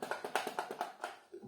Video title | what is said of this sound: Полюю на викрутки: проміжний звіт за тиждень | як його трушу воно майже нічого не бовтається